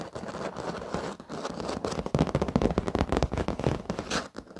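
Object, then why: Padded leather office chair. Short fingernails of both hands scratch and tap the black padded leather surface of an office chair. Dense, dry scratching is heard at first, then the second half turns busier and louder with quick, muted taps and rasps that sit mostly in the low and middle range, with little high sparkle.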